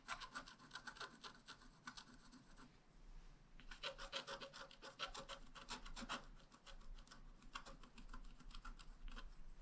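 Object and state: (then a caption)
Scratch-art paper being scratched with a stylus. A pointed wooden stylus scratches fine lines into the grass and flower areas of a thin, flat black wax-coated scratch-art card lying on a table. Many quick, dry scratching strokes come in dense bursts, producing a bright, papery rasp over a steady low rumble. Each stroke stops almost instantly, with no ring.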